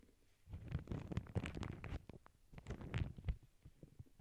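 Long acrylic nails scratch and rub across the surface of a small, flat, empty lavender paper bag lying on a cork board. The sound is quiet, dull and low-heavy, with irregular crinkly scrapes and soft taps in two bursts separated by a brief pause, then trailing off.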